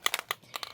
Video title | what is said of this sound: Spooktacular Backgrounds with Fireworks! Shimmery Craft Sprays | little balls that are in there you can hear them when you shake it